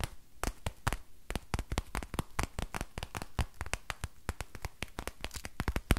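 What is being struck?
Crinkly plastic book.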